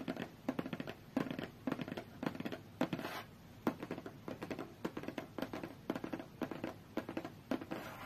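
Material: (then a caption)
Cardboard. Long fingernails tap and scratch on a closed, hollow, medium-sized white cardboard tablet box. Rapid clusters of quick, dry taps with a short hollow ring are broken up by brief scratchy rustles. Each tap dies away almost at once.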